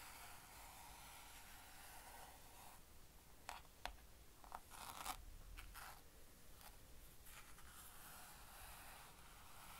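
A spread hand rubs and presses the grey fabric pad of a blue plastic easel lid lying flat on a table, fingertips working the fabric while the other hand rests on the plastic rim. It makes a quiet, steady scratchy rustle with about four brief, louder scraping bursts in the middle, then settles back to a soft brushing hiss.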